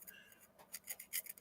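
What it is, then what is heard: Hard mineral specimen (scratch test). A steel knife scrapes across a purple rock specimen found in the gravel by a railroad, testing its hardness. Short, faint, high-pitched glassy scratches rasp in quick bursts with almost no low end. The stone proves hard.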